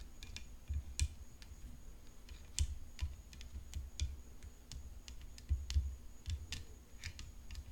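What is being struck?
Tennis racket.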